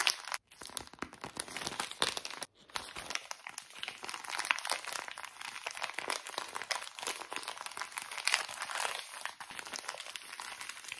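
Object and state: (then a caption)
Soft plastic wet wipes pouch, crinkled. A small, full, soft plastic pouch of wet wipes is crinkled and squeezed with both hands and fingertips. The result is a dense, continuous run of bright, dry crinkling and crackling with no low end, broken by two brief pauses near the start.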